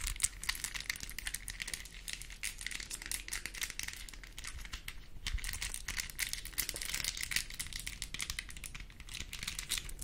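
A small plastic mini Rubik's cube, possibly on a keychain, is held close to the mic while long nails twist its layers and tap on them. Dense, rapid, clicky rattling and crinkly ticks run steadily throughout, bright and crisp with a faint low rumble underneath.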